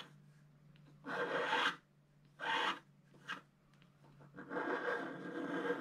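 A wooden stylus scratches the lower part of a figure on a flat scratch art sheet with a black coating. Four bursts of dry, bright raspy scraping are heard, the last one long and sustained, over a faint steady low hum.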